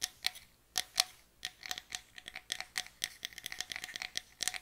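A small, closed, hollow box of light pine wood is tapped and scratched with long nails. The result is a run of quick, dry, bright clicks and short scratches with almost no low end and barely any ring. The taps come in uneven bursts, sparse at first and then faster and denser.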